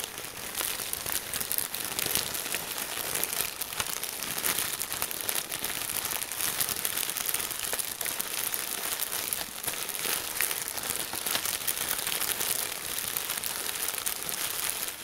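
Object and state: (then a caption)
Plastic bag of crinkle paper shreds. A large Ziploc plastic bag full of red and green crinkle-cut paper shreds is squeezed and crinkled with the fingers of both hands. The result is a dense, continuous, bright crinkling and crackling that stays fairly steady throughout, with almost no low end.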